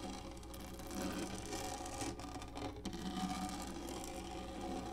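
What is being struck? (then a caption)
Textured hollow plastic lap tray. Long fingernails of both hands scratch quickly across a large black textured plastic lap tray, hollow molded. The result is a continuous, dense rasping scratch with a hollow, low resonant undertone, briefly thinning twice before resuming at a steady level.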